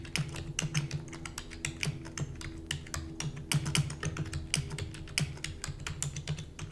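Long natural nails and fingertips type rapidly on a full-size black plastic keyboard with hollow keys. A quick, uneven stream of short, sharp taps mixes bright clicky clatter with a hollow low thud. Each tap dies away almost instantly over a faint steady low hum.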